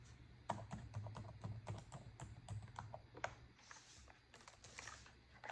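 Long acrylic nails type on a black plastic laptop keyboard, with one hand briefly resting near the touchpad. A quick, uneven run of short, sharp key clicks mixes with bright nail taps, each dying away almost at once over a faint low hum.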